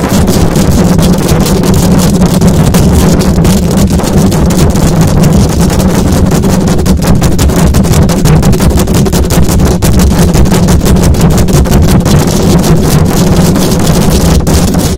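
A silver condenser microphone's hollow metal mesh grille is scratched fast by long acrylic nails. The result is a dense, loud, continuous low rumble around 180–200 Hz, with rapid scratchy strokes flickering through the upper range for the full fifteen seconds.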